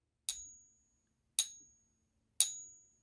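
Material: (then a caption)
Base metal. A counterfeit Morgan dollar containing no silver is tapped three times on a coin ping tester. Each tap gives a bright, high-pitched clink that dies away in about half a second, and the coin proves to be fake.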